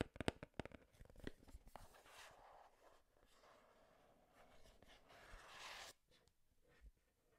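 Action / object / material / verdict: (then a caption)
scrape / printed cardboard box / cardboard / none. Long nails scratch along the sides and edges of a hand-sized, hollow, printed cardboard Game Boy retail box. A quick cluster of sharp, dry clicks opens the clip, then a continuous bright, papery rasp sweeps along the cardboard, swelling louder before cutting off abruptly near the six-second mark. One faint tap follows in the quiet.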